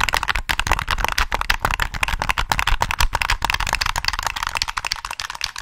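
Fingertips press the triggers and tap the body of a black, hollow plastic PS3 game controller held close to the mic. The result is a rapid, dense run of short, dry plastic clicks and taps with bright highs and a low thump underneath. Each hit dies away almost instantly.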